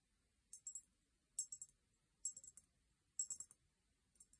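Long painted nails tap a small, empty, hollow cut-crystal glass vase with a sticker label, held upright on a fluffy blanket. Five short bursts of quick, bright, high clicks ring only briefly, with quiet gaps between them.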